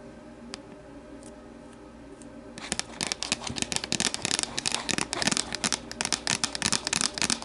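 Long matte nails tap the sides of an empty, hollow, translucent plastic deli container standing upright. After about two and a half seconds of near quiet with a few faint ticks, a quick, irregular run of sharp, bright, dry clicks and rattling taps follows, each dying away almost instantly.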